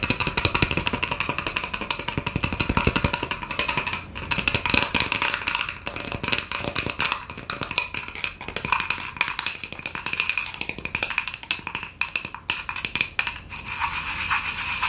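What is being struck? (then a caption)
Glitter-coated wood slice. A flat, round, plate-sized slice of solid wood cut across a tree log, its face coated with glitter and seeds, is held up close and tapped fast with long acrylic nails and fingertips. A dense stream of short, crisp, bright clicks and taps rattles on continuously with little low end, each tap dying away almost at once.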